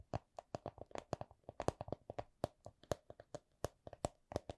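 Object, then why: Small vinyl coin purse. Long nails tap and squeeze a small, hollow, soft clear vinyl/PVC coin purse printed with a Miffy design. There's an uneven series of about 27 short, dry taps with a hollow midrange knock and a bright clicky edge. Each tap dies almost instantly, with quiet gaps between them.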